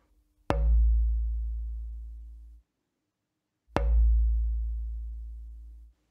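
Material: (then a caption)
Spruce. A spruce soundboard blank for a harpsichord is knocked twice, and each knock gives a sharp tap followed by a deep, hollow resonance that rings for about two seconds before fading. The blank's long reverberation is judged good, and it makes the shortlist.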